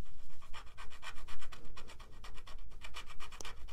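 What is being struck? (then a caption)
Paper scratch card with scratch-off coating. A small, flat green paper lottery scratch card with a latex scratch-off coating lies on a carpet, held down by one hand while the fingertips and nails of the other scratch the coating. The result is a rapid series of dry, rasping strokes with a bright, hissy edge over a low, steady rumble.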